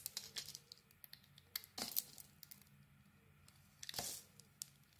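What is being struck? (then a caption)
Soap bar shaved with a metal blade. A metal blade shaves the glitter coating and body off a solid green bar of soap. Quiet, dry, crinkly scrapes and short crisp ticks come in bursts, with louder, brighter shaving strokes near two seconds and four seconds. The sound is thin and high, with almost no low end.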